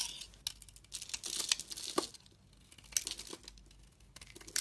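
A metal blade scrapes and shaves thin flakes off an oval, hand-sized solid bar of dry soap with a tan outer layer and green interior, held in a hand with long red nails. Dry, crinkly scratching comes in uneven bursts, bright and hissy with almost no low end, separated by brief quiet pauses.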